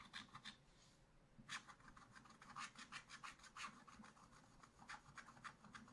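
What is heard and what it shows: A wooden stylus scratches the black coating of a scratch-art paper page near the vines, in a spiral book that lies flat while the other hand holds it steady. The result is a series of short, dry, bright scratching strokes with a papery rasp, each fading quickly and coming at an uneven pace.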